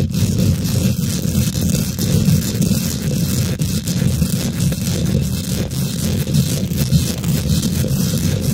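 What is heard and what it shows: Long nails and fingertips of both hands quickly scratch and tap the domed, hollow woven metal mesh grille of a large silver condenser microphone. The result is a dense, continuous low rumble with a rustling, scraping texture and faint brighter scratches on top, holding a steady, loud level throughout.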